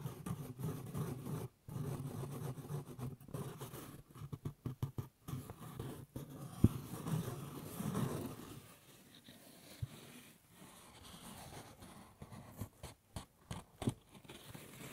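A light-colored woven straw fedora with a black band, hollow inside, is held by the brim beside the ear and scratched with fingertips. It gives soft, dry, scratchy rustling in uneven bursts with brief pauses, mostly low and muffled, with a few sharper ticks standing out.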